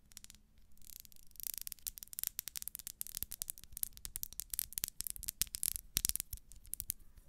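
Long nails scratch and tap along the ribbed side of a small, solid pink wax pillar candle. The result is a dense run of quick, dry, bright ticks and scratchy rasps over a faint low hum, with no ringing after each contact.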